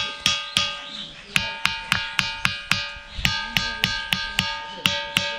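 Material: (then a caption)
Stone. A huge boulder at Thinthini Patthar in Chhindkalo village is struck 16 times with a piece of stone, unlike the other stones lying nearby. Each hit gives a bright, metallic ring with a clear tone near 2.5 kHz and steady overtones, fading within a fraction of a second.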